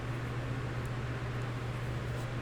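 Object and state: Nothing is struck.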